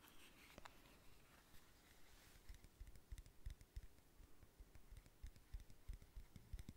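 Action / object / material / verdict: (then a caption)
tap / round plastic powder compact / plastic / none. A palm-sized, round black plastic powder compact, closed, is scratched and then tapped on its lid with fingernails. A soft, brushing scratch in the first couple of seconds gives way to irregular, quiet, dull taps with very short, clicky decays over a faint steady background hiss.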